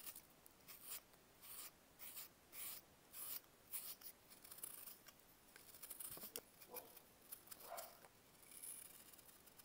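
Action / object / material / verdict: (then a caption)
scrape / compressed baking soda block scraped with a metal blade / baking soda / none. A metal knife blade shaves and carves flakes off a small, solid, grey-white block of compressed baking soda held in bare fingers with long nails, and the flakes crumble into a pile. The quiet clip has a series of short, dry, bright scraping strokes with soft crumbly hiss and little low end.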